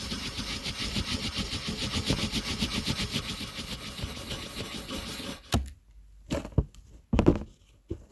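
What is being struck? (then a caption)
Colored pencil on a paper sheet. A blue wooden colored pencil fills in the letter C on a flat, thin white paper coloring page, its tip scratching and rubbing over the paper in rapid, repeated strokes for about five seconds. The steady, bright scratching then stops, leaving near silence broken by four short, louder rustles.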